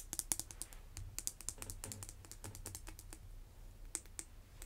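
Fingernails quickly tap the top of one end of a red vinyl-coated hand dumbbell, making a rapid, uneven run of short, bright clicks that resemble typing on a keyboard. Each tap dies out almost instantly over a steady low hum.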